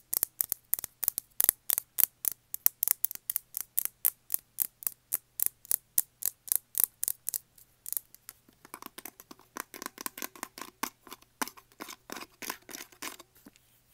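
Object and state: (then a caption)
Plastic tumbler full of nuts. A tall clear plastic tumbler with a black lid and base, full of peanuts and standing on carpet, is tapped and scratched with fingernails. For the first eight seconds, fast, evenly spaced, sharp, bright clicks ring out. They give way to denser, softer scratchy taps with more midrange body until the end.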